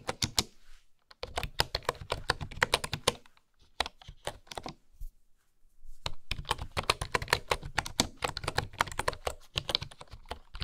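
Fingertips with long nails type on a bamboo keyboard with bamboo keycaps, producing rapid, dry clacks with a soft low thud under a bright tick on each keystroke. The typing comes in bursts, with a brief pause near the first second and a longer lull in the middle before it resumes steadily.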